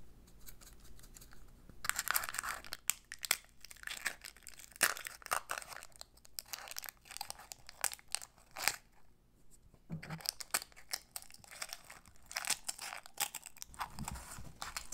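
A hollow orange-dyed eggshell filled with confetti is held in both hands and cracked and peeled with long acrylic nails. Dense, bright crinkling and crackling snaps come in bursts with brief quieter pauses, and the fragile shell breaks apart piece by piece.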